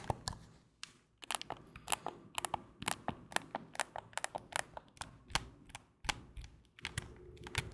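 A hand-sized, white and black plastic gamepad in the PlayStation DualSense style, with a hollow casing, is held in both hands in front of the microphone while fingertips press its buttons and triggers and tap its shell. The result is a rapid, irregular stream of short, dry, bright clicks and taps that stop instantly, with brief pauses between bursts.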